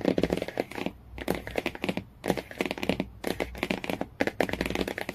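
Fingernails rapidly tap and scratch the laminated cardboard cover of a hardcover Jungle Book. The result is dry, sharp clicks mixed with crinkly scratching, in fast bursts separated by brief pauses. Each tap dies away almost instantly.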